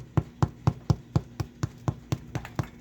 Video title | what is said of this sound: How to make Dead Easy Bread | you want it to sound kind of hollow. That sounds hollow enough to me.